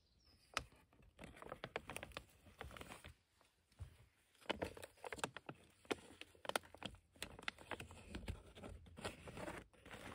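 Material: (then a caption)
Plastic. Long nails and fingertips scratch and tap the crinkly plastic of an opened, partly full, dusty red and black plastic bag of cement. Quiet, dry crinkling and scratching are broken by many sharp, short taps with bright, crackly edges and almost no ring.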